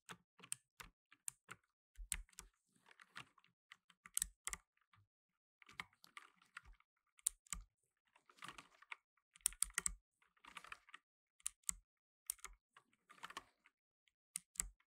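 Fingertips in blue nitrile gloves rapidly press the plastic keycaps of a black plastic tenkeyless mechanical keyboard while typing. Crisp, bright clicks come in quick, uneven bursts, and some keystrokes land with a soft low thump. Between the sharper single strikes are rattling runs of fast clatter, each sound ending almost instantly.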